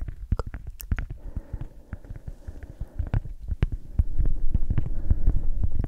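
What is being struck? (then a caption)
Cork coaster. A round, flat, solid palm-sized cork coaster is tapped and scratched with long acrylic nails, giving quick, dull, low thuds with faint bright clicks over a soft scratching texture. The taps come rapidly and unevenly, and the sound grows louder in the last couple of seconds.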